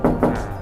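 Two hollow, resonant knocks are struck on the aluminium body panel of a 1948 Land Rover Series 1, whose panels are aluminium rather than steel and joined by original spot welds. Each knock gives a dull, low-mid tone around 250 Hz that rings briefly before fading.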